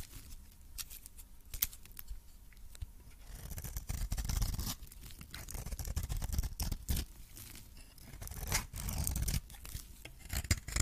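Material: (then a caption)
Soap. A metal blade scrapes and cuts into a coated, cream-colored solid soap bar with orange remnants on it. Quick, irregular crackling clicks and dry scraping strokes are heard, with denser, louder scraping bursts in the middle and near the end over a low, rumbling body. Each cut snaps off short with no ring.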